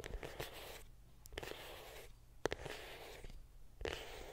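Long pink nails scratch and tap a small, closed, hollow white printed cardboard iPhone 7 Plus box held close to the mic. Soft, dry scratching swells and fades in bursts, broken by a few sharp, hollow taps with a low-mid boxy resonance that stop almost instantly.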